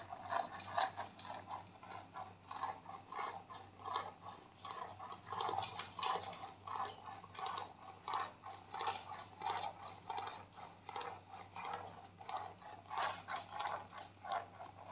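A white, flat, hand-sized plastic squeeze tube of face cream, hollow and partly filled, is held up and tapped and scratched with long painted nails. The result is a steady run of light, dry clicks and scratchy rustles with a hollow plastic tone around 1 kHz, each tap dying away quickly.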